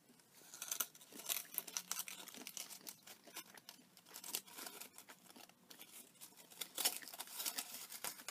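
An empty, crumpled gold aluminium foil chocolate wrapper with a brown paper cup is held in one hand and crinkled and squeezed with fingers and long nails. Dense, crisp crackles and bright, hissy rustles come in quick bursts that swell and ease over the whole clip. There is almost no low end.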